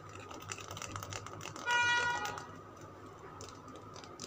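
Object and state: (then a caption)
Bar of soap. Fingernails tap and scratch a solid green Lux soap bar held in the palm, making quick, light clicking taps much like typing on a keyboard. Midway a louder, brief tonal ring with steady overtones rises above the taps, then fades back to the soft tapping.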